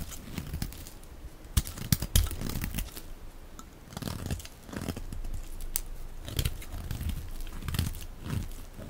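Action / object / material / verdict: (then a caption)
scrape / bar of soap / soap / none. A dark blade shaves strips from the edge and face of a solid, dry, olive-green rectangular soap bar, hand-sized and held in one hand. A steady run of dry, crunchy scraping and crackling cuts is heard, with sharp louder snaps mixed in, a low, full body and short crisp bursts of bright texture that stop almost instantly.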